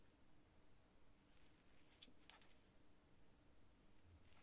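A thin quill or dip pen nib scratches across flat, thin sheets of cream writing paper lying on a desk while writing. The sound is very quiet, with faint, bright scratchy strokes over a low, steady background hush.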